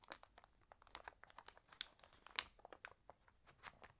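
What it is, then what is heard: Glossy paper magazine pages. Fingertips and long nails smooth, rub and turn the thin glossy pages of an open paper magazine. The result is a quiet run of crisp, bright crinkles and short papery rustles, with a louder crackle near the middle and almost no low end.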